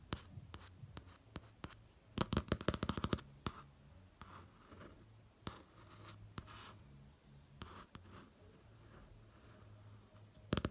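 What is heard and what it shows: A fingertip traces and taps the textured print on a pop-art notebook cover, near the printed eye area. Quiet, dry scratching strokes run under scattered light taps, with a quick flurry of taps early on and a couple of sharper taps at the very end. A faint low hum sits underneath throughout.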